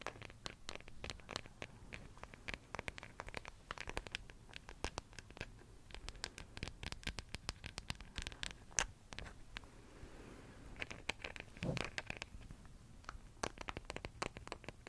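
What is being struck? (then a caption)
Wooden hairbrush back. Long nails tap and scratch the back of a small, solid wooden hairbrush held in one hand. Quick, dry clicks with bright edges come in uneven bursts over a soft, low scratchy bed, and each tap dies almost at once. The level stays quiet throughout.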